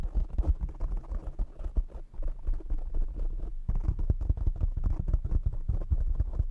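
A black, soft, hollow-backed foam windscreen over a large desktop microphone is tapped rapidly with the short nails and fingertips of both hands. The result is a dense, continuous patter of muffled, deep thumps with almost no high or bright content, each tap dying away almost instantly. The tapping thins briefly around the two-second mark, then returns heavier and boomier in the second half.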